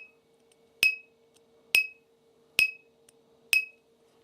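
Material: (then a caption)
Plastic filament. A 3D printed part made from an expensive, very stiff specialty filament (about $140 per kilogram) that does not bend is flicked four times. Each flick gives a high, metallic ting near 2.5 kHz with a brief ring, over a faint steady hum. It sounds like metal rather than standard filament.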